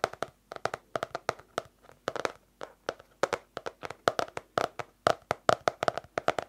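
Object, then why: Small hardcover paper notebook. A small yellow-orange hardcover paper notebook with an elastic band, closed and held in hand, is tapped on its cover with long nails and fingertips. About 34 quick, dry taps land in irregular clusters, each a short hollow tick centered in the mids around 650 Hz that dies away almost instantly.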